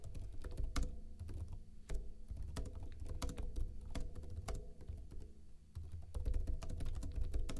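Fingertips with short blue-painted nails tap rapidly on a backlit plastic laptop keyboard with hollow keycaps. The quick, dry clicks and light thunks come in an uneven, steady stream of typing over a low, bass-heavy rumble. There is almost no ring after each key.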